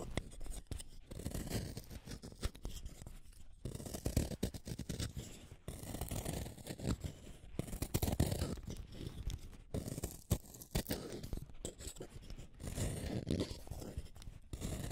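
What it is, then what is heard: Wooden pencil being shaved. A solid green wooden colored pencil is shaved with a small metal blade set in a yellow holder. The clip is a steady run of rough, dry scraping strokes, heavy in the low end, coming in dense bursts with short pauses between them.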